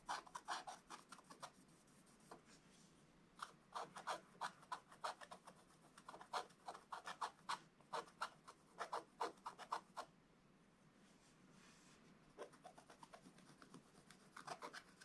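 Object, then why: Scratch-art coated paper page scraped with a wooden stylus. A wooden stylus scratches the black coating off a scratch-art book page, uncovering the picture of presents. Quick runs of short, dry, rasping strokes sound bright and papery, pausing briefly near 2 seconds and going quiet from about 10 to 12 seconds before resuming.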